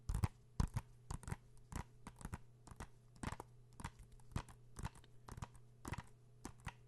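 A blue hollow plastic PS4 game case, held in the hands, is tapped rapidly with fingertips and nails, producing about 26 short, dry clicks and taps at an uneven pace. Each tap is crisp and bright and dies away almost instantly, over a faint steady low hum.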